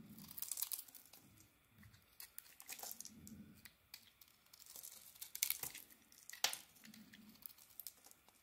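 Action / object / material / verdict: scrape / soap bar shaved with a metal blade / soap / none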